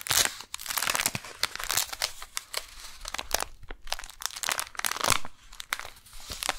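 Long nails scratch and tap on a brown kraft paper package with a window holding a beeswax wrap while hands grip it. The result is a steady run of bright, dry crinkling and scratchy rustling, broken by quick crisp taps with almost no ring.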